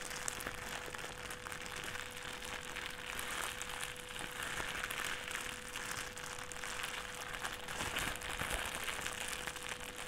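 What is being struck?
Thin plastic trash bag.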